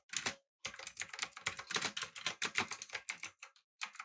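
A backlit typewriter-style mechanical keyboard with an aluminum body, blue switches and round plastic keycaps is typed on quickly with the fingertips of both hands. Dense bursts of bright, crisp clicks run in quick runs, broken by brief pauses.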